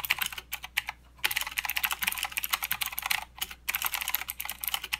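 Fingertips of both hands type continuously on a full-size mechanical keyboard with plastic keycaps and blue clicky switches. Rapid, bright, crisp clicks sound with almost no low end, and brief pauses fall near 1 second and 3.5 seconds.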